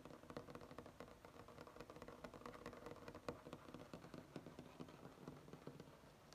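Short fingernails of both hands scratch and tap on a flat, solid wood-grain tabletop, making a quick, steady run of dry taps over soft scratching. Each tap is short with almost no ring, and the tone centers low-mid around 480 Hz.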